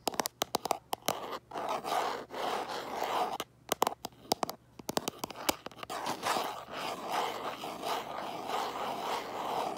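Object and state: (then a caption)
Smartphone in plastic case. Fingertips and nails scratch and scrape the back of a smartphone in a light plastic case held up to a mirror. Quick, dry clicks and short scratches come in bursts, then settle into steadier, continuous scraping with a raspy mid-range hiss around 850 Hz and little low end.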